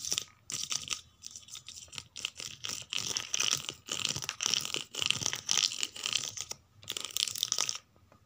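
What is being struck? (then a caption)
Paperback book spines, paper and card. Long painted nails scratch and tap across the paper and card spines of a row of paperback books standing on a shelf. The result is a series of dry, bright, crunchy scratching bursts with short pauses between them, almost no low end, and no ring after each stroke.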